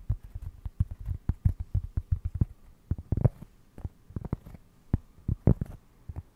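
A round cork trivet held close to the mic is tapped and scratched with fingernails. The result is a dense run of soft, dull, low thumps with short scratchy bursts. The sound is muffled and deep, and there is almost no high ring.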